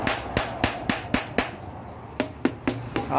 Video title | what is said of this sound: mould(Acuan loke 9inci×30inci | ketuk tengah pun tak ada kemek dah. Besi kita guna besi tebal dah.